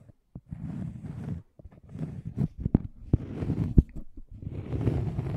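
Fingertips and nails scratch and tap the surface of a thin, solid, round flat cork coaster with a scalloped edge, held close to the microphone. Dull, low-pitched scratching comes in rough bursts, broken by short, sharp taps that stop almost instantly. The overall sound is soft and muffled.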